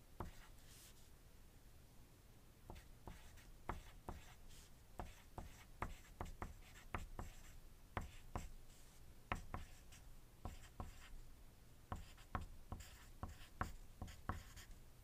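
A wooden graphite pencil writes on a thin white paper sheet resting on a desk. It makes continuous scratching with many short, sharp strokes and taps over a quiet, steady low hum.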